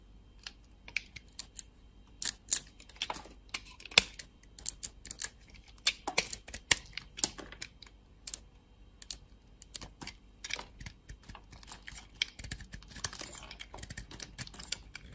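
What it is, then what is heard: Dry bar of soap being carved. A utility-knife blade carves slices off a solid, dry bar of soap with a yellow shell and purple marbled core held in the hand. The cutting produces rapid, crisp, bright clicks and crunchy scrapes in irregular bursts, each dying away almost instantly.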